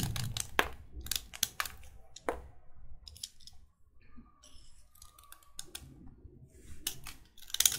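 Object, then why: Chalk stick scraped with a knife blade. A solid white chalk stick is scraped and shaved with a utility knife blade, with the chalk powder collecting on a wooden table. Sharp, bright scraping strokes and crisp little cracks come in bursts separated by quiet pauses, with a faint steady tone in the middle of the clip. A low rumble sits underneath.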